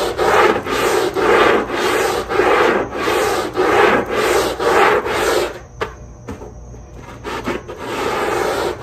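A long-handled black brush scrubs back and forth across the wet, foamy backing of a textile rug with rubber dots, lying on a tile floor. Steady, rhythmic, rasping swishes repeat at roughly two strokes per second. Near the end the strokes briefly fade to quieter, lighter scrapes before the full scrubbing resumes.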